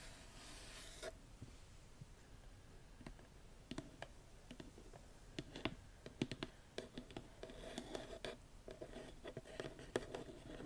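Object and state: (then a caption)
Cardboard box tapped and scratched by nails. Long nails tap and scratch the lid and sides of a small, hollow, printed cardboard gift box. Quiet, dry scratching runs under a scatter of short, sharp taps that stop almost at once, with a faint hollow body to the knocks.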